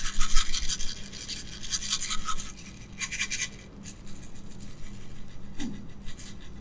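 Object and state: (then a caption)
Plastic jar of small beads, shaken. A small clear jar, probably plastic, with a knob lid and filled with small pink beads, is shaken and tilted in gloved hands. The beads rattle and roll inside in bright, gritty bursts over a low steady hum. Strong shakes in the first two and a half seconds give way to softer, intermittent rolling.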